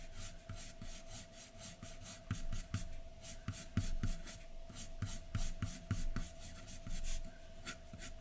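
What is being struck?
Graphite pencil scratching on a paper drawing sheet.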